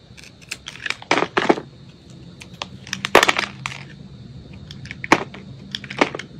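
A metal utility blade cuts and scrapes pieces off a solid white soap bar held in the hand. It makes crisp, dry crunching scrapes in irregular bursts, some louder and sharper than others, over a faint steady high hum.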